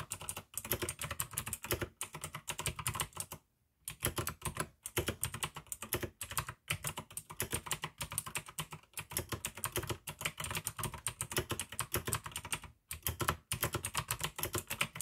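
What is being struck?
Plastic mechanical keyboard.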